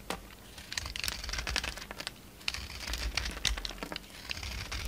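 A utility knife blade scrapes and shaves a hand-size rectangular solid bar of soap with a red embossed coating and a white interior, and flakes fall away. The sound is a rapid run of crisp, bright, crinkly scraping bursts over a faint low hum, with two busier stretches around a quieter gap.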